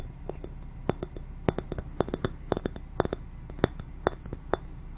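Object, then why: Thin glass ball ornament. Long painted fingernails tap a small hollow clear glass Christmas ball ornament, decorated in white snowy trim with a metal cap and held by its hanger. The taps make a quick, uneven series of short, light clinks with almost no ring, against a quiet background hiss.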